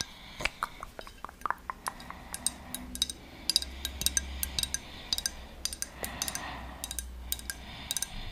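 A palm-sized, solid blue glazed ceramic seahorse figurine with a ridged texture is held in one hand and tapped and scratched with long fingernails. Many quick, bright clicks sound over a soft scratching rasp and a faint low hum.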